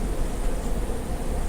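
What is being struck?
Nothing is struck.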